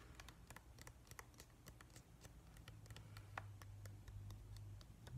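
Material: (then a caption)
Plastic. A hand-sized, hollow, glossy plastic whale-shaped night light with a pale blue-grey top and white base is tapped and scratched with fingertips and nails. Quick, irregular, light clicks and bright ticks patter across the shell, with one sharper tap near the middle. A steady low hum runs underneath throughout.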